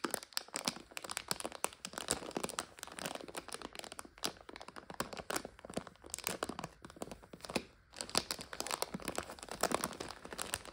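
A full plastic bag of dry egg noodles lies on its side while long nails tap and scratch at its label and plastic. Dense, crisp crinkling and sharp clicks fill the clip, bright and dry with almost no low end, pausing briefly just before the eighth second.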